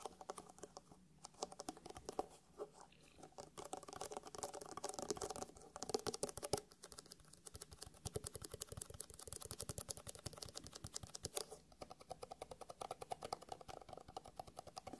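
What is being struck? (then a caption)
Hard eyeglasses case covered in faux leather. A closed black faux leather hard eyeglasses case lying on a felt mat is tapped rapidly and densely on its shell with the fingertips of both hands. The result is a quiet, continuous patter of short, dry, muted clicks centered in the low-mid range, with brief lulls between bursts.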